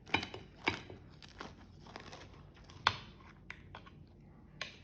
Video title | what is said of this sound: HARCHA RAPIDE ET FACILE - Galette tendre à la semoule #harcha #recettemarocaine #galettesemoule | Écoutez un petit peu comment ça croustille.